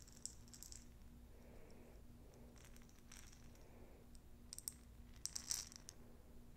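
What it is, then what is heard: Jar of plastic perler beads shaken. A jar filled with small plastic perler beads is shaken and handled, giving quiet bursts of bright rattling and clicking with a few sharper high clicks. A low steady hum runs underneath throughout.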